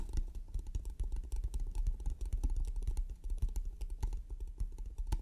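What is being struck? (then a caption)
Small painted wooden box. Long nails tap and click rapidly on the lid of a small, hollow, closed octagonal striped painted wooden trinket box, near the button and along the top edge. The dense, quick taps sound like typing, with a dull low thud under each short, dry click.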